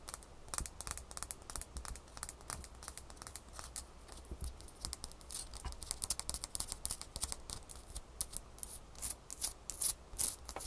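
A small, solid, crescent-shaped ice cube is held between the fingers and rapidly tapped and scratched with long manicured fingernails. The result is a quick run of sharp, bright clicks and short scratchy rasps over a faint low hum, growing louder toward the end.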